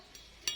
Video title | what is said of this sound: JANGAN SALAH MEMAHARI KERIS -- Gus Ahmad | Dan ini juga bunyinya ting sekali loh.